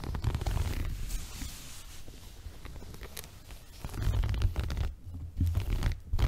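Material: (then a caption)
Woven fabric. Fingertips and nails scratch and rub the coarse weave of a small, flexible multicolored woven textile rug held upright in front of the body. The result is a dense, muffled, low scratching and rustling that dips quieter midway, then swells into louder rubbing bursts near the end.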